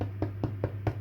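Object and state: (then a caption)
Hollow-sounding baked bread loaf. Knuckles knock repeatedly on the crispy, caramelized bottom of a freshly baked grape wild-yeast bread loaf, producing short, dull, low thuds that die away quickly over a steady low hum. The loaf sounds hollow, the sign that it is baked through.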